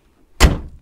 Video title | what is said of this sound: TESTS VÉRITÉ : VW TIGUAN R LINE eHybrid 272Ch + Test du DIESEL Tdi 150ch ! | quand on claque la porte, vous voyez, ça sonne plein et sourd